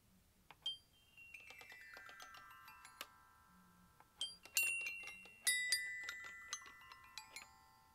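Aluminium glockenspiel bars are struck with a yellow plastic mallet, giving bright, bell-like metallic tones that ring on in long sustained overtones. The notes come in an irregular pattern, with a quick run of light taps early on and then several louder strikes later, each leaving a clear, high shimmer that fades slowly.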